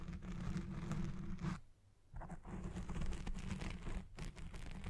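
Both hands rapidly scratch a black foam microphone windscreen on a Blue Yeti Pro with long red nails and fingertips, working over its sides, top and base. The result is a dense, muffled, low-heavy rustling scratch that runs steadily, drops to near silence for about half a second before resuming, and briefly dips again near the end.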